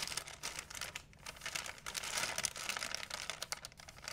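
A large, empty white plastic shopping bag is crinkled and flapped by hand. Dense, bright crackling rustles run the whole clip, rising and falling in loudness, with very little low end.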